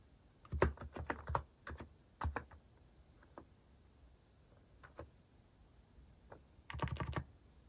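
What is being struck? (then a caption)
Mechanical keyboard with plastic keycaps. Fingertips type at a slow pace on a compact, white-cased mechanical keyboard with cat-themed plastic keycaps. Short, dry clacks come in uneven bursts: a cluster near the start, scattered single presses in the middle, and a quick flurry at the end, with brief pauses between them.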